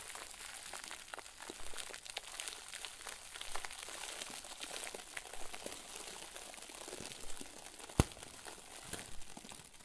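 A round white plastic bag filled with soft, fluffy stuffing is squeezed and pressed with the fingers. It makes a steady, quiet crinkling and crunching of plastic, with one sharp, bright snap near the end.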